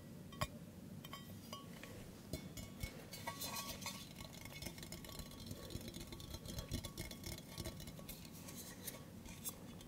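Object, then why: Stainless steel mug. A hollow, empty stainless steel mug with a handle is held up overhead and then in front while being tapped with fingertips and nails. The taps make quick, bright clinks that die away almost at once, scattered densely over a quiet, low background rumble.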